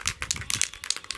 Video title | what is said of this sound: How to apply Super Grip non slip spray to your latch hook rugs | You can hear it all swishing about in there. You can hear the ball bearings that are inside.